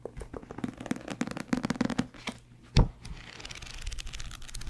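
A thick, solid paperback book with a paper cover and paper pages is held in both hands near the microphone, handled and its pages riffled or flipped with the fingertips. A quick run of soft, crisp paper ticks and rustles fills the first two seconds, followed by a single louder, low thump near the three-second mark. The clip ends in a steady, airy papery hiss that grows slightly brighter.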